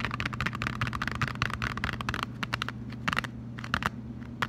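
A closed, flat cardboard Lindt chocolate box is held in both hands while fingertips and short nails rub and scratch its surface. Dense, dry scratching ticks come in quick bursts for the first two seconds, then thin out to scattered scrapes over a steady low hum.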